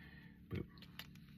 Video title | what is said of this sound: Goku Lowest Born Saiyan SHF review. He is such a good looking figure. | you hear how that sounds solid